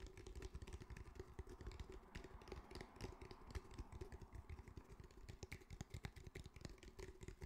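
Fingertips tap rapidly on the top and sides of a grey, fabric-covered cylindrical speaker with a hard, hollow body. The taps land as a dense, irregular patter of short, muffled knocks, mostly low and thuddy, with a faint steady tone running underneath. Each tap dies away almost instantly.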